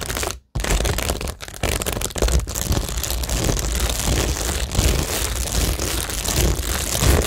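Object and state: Cork board with plastic rhinestones, scratched and tapped.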